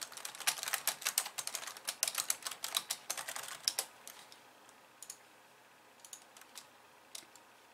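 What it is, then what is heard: Plastic computer keyboard. Long nails type on a pink plastic computer keyboard with white keys, first with two hands and then with one. A dense run of quick, bright, dry clicks fills the first four seconds, then thins to sparse, scattered taps over a quiet background.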